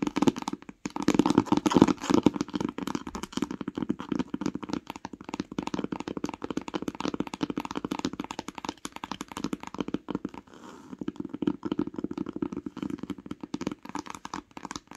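Long pink acrylic nails tap fast on the top cover of a closed, solid hardcover book with a cloth-covered grey board cover and a printed paper spine, lying on a woollen blanket. The result is a dense, steady stream of quick, dry clicks and taps with almost no ring and a warm, mid-pitched body. There is a brief lull just after the ten-second mark before the tapping picks up again.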